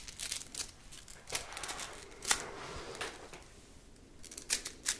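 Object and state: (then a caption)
Plastic slinky spring. A red plastic slinky coil toy, a hollow spring, is stretched and collapsed between hands, making its coils clatter together. Quiet, bright rattling clicks come in scattered bursts with a few sharper peaks.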